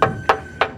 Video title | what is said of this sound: WMOTO Morbius 250 : Gaya Harley, harga cengli | besi kalau diketok bukan kaleng-kaleng